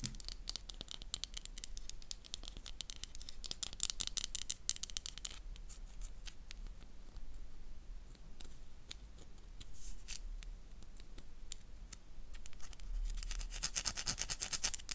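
A solid oval black bar of soap is held in the hand while long dark nails scratch across its surface, leaving white scrape marks. Quick, dry scraping strokes come in dense bursts, with a bright, hissing texture that swells at the start and again near the end, over a low steady hum.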